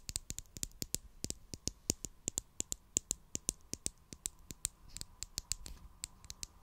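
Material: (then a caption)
Plastic. Long acrylic nails tap and scratch the sides of a small purple plastic glue stick tube with a cap, held in hand near the mic. About 35 quick, dry, bright clicks come at an uneven pace, each dying away almost instantly, with soft scratching between them.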